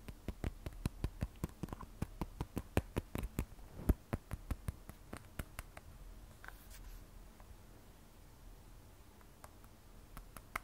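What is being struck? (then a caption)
Smartphone, glass back and stainless steel edge. Long nails tap the glass back of an iPhone 12 Pro, a glass and stainless steel smartphone, in a quick run of sharp, dry clicks with almost no ring. The phone is then turned so the nails tap its stainless steel side edge, where the taps slow to a few sparse, faint clicks. About 33 taps are heard in all.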